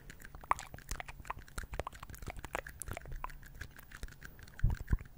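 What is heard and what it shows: Two small, empty, hollow red plastic party cups, one held in each hand beside the microphone, are scratched and tapped with fingertips and nails on their outer walls. Quick, irregular dry clicks and crunchy scratches come through, ending in a couple of louder, deeper knocks near the end.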